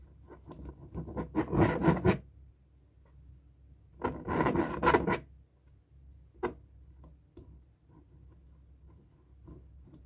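A felt-tip marker writes and scribbles on a light blue, hollow, inflated latex balloon held in hand, scratching across the stretched rubber. Two louder bursts of squeaky, rasping strokes come early and in the middle, followed by softer, scattered short scratches over a faint low background hum.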